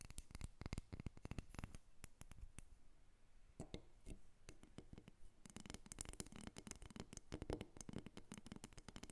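A small, solid carved wooden dolphin figurine is held up and then set on a table while long nails tap and scratch it. Quick, dry clicks and taps come in dense bursts, each dying away almost instantly, with a softer, scratchier stretch in the middle before rapid tapping picks up again.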